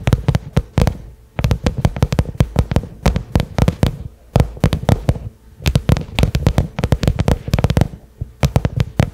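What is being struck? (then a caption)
Small cylindrical case covered in pebbled leather. Fingertips and medium-length nails tap on a small cylindrical black case with a pebbled leather (likely faux leather) covering, probably hollow and hard-shelled, lying on carpet. The taps come in quick, irregular bursts separated by short pauses. Each is a short, dry, low thud with a sharp click and almost no ring.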